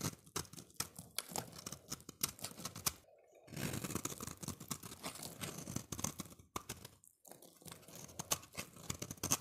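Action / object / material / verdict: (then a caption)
scrape / bar of soap / soap / none. A solid, oval, translucent orange bar of soap held in the hand is scraped and shaved with a utility-knife blade. Rapid, crisp scraping and crunching strokes with a bright, papery edge continue throughout, broken by two brief pauses.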